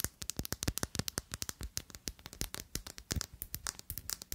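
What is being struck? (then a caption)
Thick glass perfume bottle. A clear, thick, faceted glass perfume bottle with a square black cap, small to medium size and mostly empty, is held in both hands and tapped and scratched with long glittery acrylic nails. A rapid series of about 34 sharp, bright clicks and ticks with very short ring is heard, mixed with faint scratching between taps.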